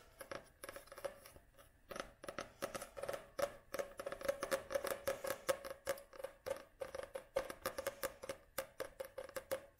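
Long nails tap and scratch rapidly across the glossy card cover of a paperback book held upright. The result is a quiet, fast run of short, dry clicks and scratches with a faint ringing tone near 540 Hz and little low end.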